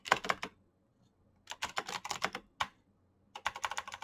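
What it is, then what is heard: Plastic mechanical keyboard. Fingertips fast-type on a black plastic mechanical keyboard with clicky green switches and backlit keycaps. Three bursts of sharp, bright clicks centered around 1 kHz are separated by short pauses. Each click is short and dry, with almost no low end.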